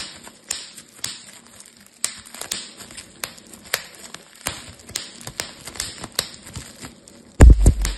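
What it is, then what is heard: Bubble wrap being popped. A thin, clear, air-filled plastic bubble wrap sheet is squeezed and twisted between fingertips and thumbs, giving a steady run of sharp, bright pops over soft crinkling and a faint high hiss. The last second ends with a much louder, heavier burst of popping.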